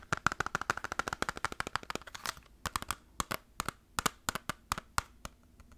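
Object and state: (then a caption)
Plastic game case. Fast fingertip tapping on a plastic PS2 Final Fantasy game case, compared with a PS1 case. Many short, sharp, dry clicks with a hollow midrange tone are heard, dense and rapid at first, then slowing into a spaced rhythm.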